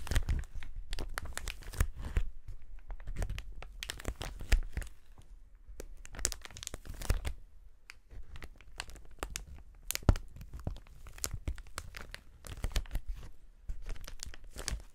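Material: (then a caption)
Plastic film. A large clear polyethylene sheet of hollow, inflated air-cushion pillows is held up close and pressed and crinkled with the fingertips. Dense bursts of crackling, crinkling plastic come one after another with short gaps, heavy in the low end with a bright edge to each crunch, and every crackle stops almost at once.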